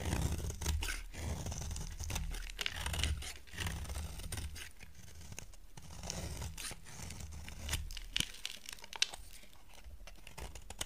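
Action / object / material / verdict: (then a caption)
scrape / bar of soap shaved with a blade / soap / none. A box cutter blade shaves thin curls off the edge of a small, solid, dry oval bar of white soap held in one hand over a pile of shavings. Repeated crisp, crunchy scraping and tearing strokes carry a bright, papery edge over a low rumble. Sharper cuts stand out toward the end.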